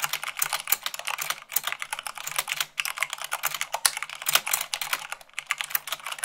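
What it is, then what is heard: Mechanical keyboard typing. Rapid typing with fingertips and long nails on a white plastic mechanical keyboard produces a fast, dense stream of bright, sharp clicks that decay almost instantly. The keystrokes run continuously with brief uneven pauses.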